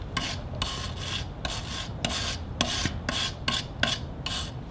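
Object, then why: Wooden log with bark. A gloved hand scrapes a chisel across a large solid wooden log with patches of bark, resting on sawhorses with a mallet lying on top. Repeated short, bright rasping strokes are heard, each a burst of coarse scraping with a faint low rumble beneath.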